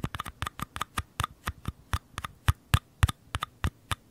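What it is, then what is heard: Small paper cups scratched. Fingernails tap and scratch along the walls of two identical small, hollow paper cups held on their sides close to the microphones. About 18 quick, dry clicks come at an uneven pace, each a short low thump with a faint papery ring and a brief bright tick, dying away almost instantly.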